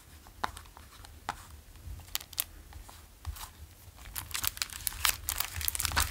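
A small printed-cardboard Malaco Zoo candy box filled with gummy candies is held in the hands and tapped with the fingertips, then turned so the contents may rattle slightly. Sparse, sharp, bright taps and crinkly clicks come first, then grow denser and louder toward the end over a low, steady hum.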